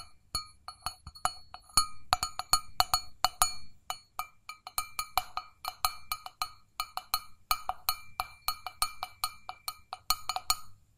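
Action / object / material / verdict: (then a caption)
tap / stainless steel mug / stainless steel / none. Long fingernails tap and scratch the outer wall of an empty, hollow stainless steel mug with a handle. The result is a quick, uneven run of bright metallic clicks with a pitched ring near 740 Hz and high overtones. Each tap dies away almost at once, with soft scratching between the taps.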